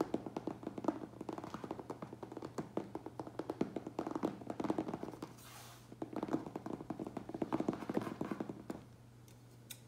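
Fingertips tap fast on the side edges of a medium, closed, hollow cardboard Priority Mail box, making a rapid run of short, dull, papery taps with a low steady hum underneath. The tapping pauses briefly around the middle, where a soft, bright brushing hiss is heard, then resumes before stopping near the end.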